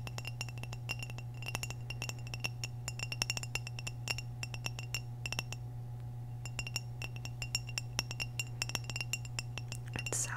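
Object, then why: Glazed ceramic vase. Long nails tap and click on the body of an orange glazed hollow ceramic vase close to the microphone, in quick, uneven bursts of short, bright clinks with a faint high ring. A steady low hum runs underneath throughout.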